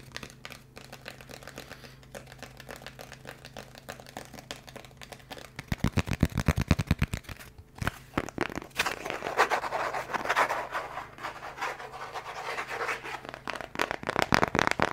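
A small, thin, hollow-seeming brown kraft cardboard box or card is held in both hands close to the mic and tapped and scratched with the fingertips. Soft, quick taps build into a louder burst of rapid, thumpy taps, then turn into scratchy, crinkly rubbing before a few sharp taps at the end.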